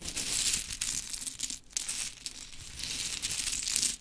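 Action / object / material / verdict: scrape / small wooden clothespins scratched and shuffled by fingernails / wood / none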